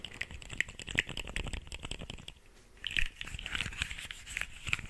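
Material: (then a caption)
Plastic. A small, hollow rainbow pop tube made of corrugated plastic is stretched out and squeezed back by fingertips, and its ribs crackle. Dense, dry clicks and crinkles come in bright, sharp bursts. A quieter lull near the middle gives way to another flurry of pops.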